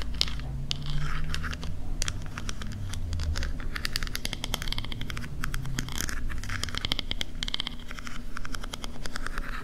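Long pink-painted nails tap and scratch along the ridged lid of a small, palm-sized silver scallop-shell compact mirror, a hollow closed case that appears to be chrome-finished metal. Rapid, crisp clicks and bright scratchy strokes run steadily throughout over a soft, constant low rumble.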